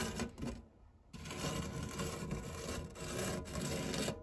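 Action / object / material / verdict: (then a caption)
scrape / non-stick metal tart tin scraped with silicone spatula / metal / none. A white silicone spatula scrapes and rubs the crumb-covered, textured base of an empty round non-stick metal tart tin with a fluted rim. The result is a steady, gritty, rasping scrape with a low, full body, briefly dropping to a quieter rub around the one-second mark before resuming at a strong, even level to the end.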